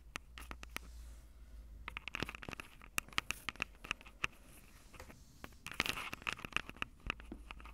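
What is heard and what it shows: Long purple acrylic nails tap the two metal-grilled microphone capsules of a Tascam DR-05 handheld recorder with a plastic body. The result is an irregular run of sharp, bright clicks and ticks with a faint ring near 2 kHz. They play over a steady low hum and soft scratchy rustle.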